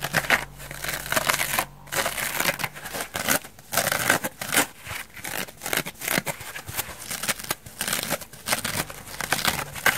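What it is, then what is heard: Foam bath sponge being scratched. A hand-sized, dry, elliptical foam bath sponge, white wavy foam with an orange layer, porous and soft, is scratched with long nails and fingertips. The result is a dense run of bright, dry scratching and crackling bursts with brief pauses, with very little low end and almost no ring after each stroke.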